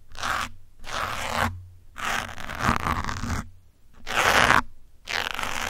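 A metal pin held in the fingers scratches the top of a grey foam windscreen on a black microphone. Five separate bursts of rough, rasping scratching are heard, strongest in the upper mids and reaching bright highs, with a faint low hum between them.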